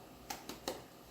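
A corn-flour arepa made from precooked corn flour, cooking in a pan and golden on both sides, is tapped three times, giving short, dry, hollow knocks with a bright edge and very little ring. The hollow sound shows it is cooked through and ready to serve.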